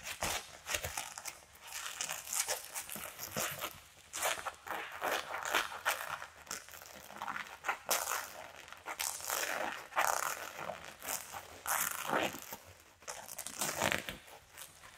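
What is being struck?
Satin corset with boning.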